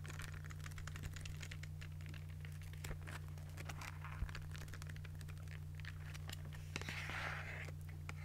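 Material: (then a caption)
Paper. A small pink spiral notebook has its paper pages flipped and its cover tapped with fingernails. Quick, irregular soft taps and light papery crinkles sound over a steady low hum, with a brighter rustle near the end. The sound stays quiet throughout.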